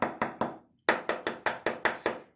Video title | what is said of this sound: Çıtır Çıtır Lokma Tatlısı Yaptım(Sesini Sonuna Kadar Açıp İzleyim) | sesinden de ne kadar çıtır olduğu anlaşılıyor